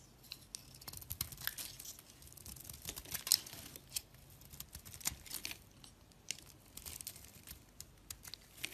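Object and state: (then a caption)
Soap bar being carved. A box-cutter blade shaves grooves and curls off the surface of a solid green oval soap bar held in the hand. The sound is a quiet, crisp, bright scraping made of many short shaving strokes with little low end, some strokes louder than others.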